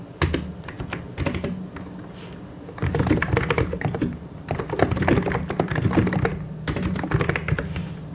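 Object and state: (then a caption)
Plastic mechanical keyboard being typed on. Fingertips tap the keycaps of a white and grey plastic mechanical keyboard in irregular bursts of fast typing, with brief lulls between runs. Each keystroke gives a short, dry clack with a low thocking body and a quick, bright click on top.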